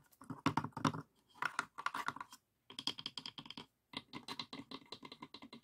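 Fingertips tap and knock on the inner walls and dividers of an open light pine wooden box with compartments and small glass dishes inside. Quick, dry, hollow taps come in rapid bursts separated by short pauses, with a warm low-mid body and a brighter clicky edge. Each tap dies away almost at once.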